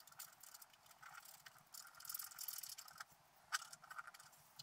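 A wooden stylus scratches the coating of a flat black scratch-art paper sheet lying on a table. It makes a quiet, dry, bright scratching of quick overlapping strokes with almost no low end, peaking in a sharper stroke about three and a half seconds in.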